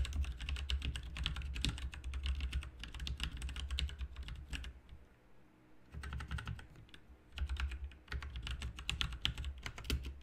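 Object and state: Plastic mechanical keyboard being typed on.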